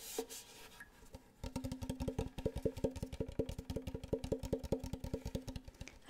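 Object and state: Wooden ukulele body.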